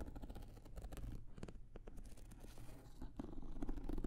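A small, blue, starry-print hard-shell zippered carrying case, with an EVA shell and a fabric cover, is held closed and hollow near the microphones while long nails tap and scratch its surface. The result is quiet, rapid, irregular tapping with soft scratching, heavy in the low end with dull, hollow thuds that die away quickly.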